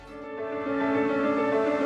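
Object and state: Nothing is struck.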